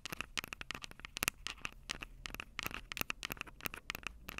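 Long purple acrylic nails scratch and tap the two metal-grilled microphone capsules of a plastic-bodied Tascam DR-05 handheld recorder. The result is a quiet, rapid stream of dry, crackly scrapes and clicks that is bright and sits mostly around 2.6 kHz and above. Each contact cuts off instantly with no ring, over a faint low rumble.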